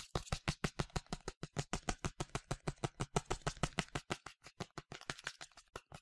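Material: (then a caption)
Plastic. A medium yellow plastic sunscreen spray bottle with a translucent cap, hollow and partly filled, is tapped quickly with fingernails, about 39 times in six seconds. Each tap is a short, dry click with a hollow low thump under a bright edge and almost no ring. The rhythm stays fast and fairly steady, with the later taps slightly softer.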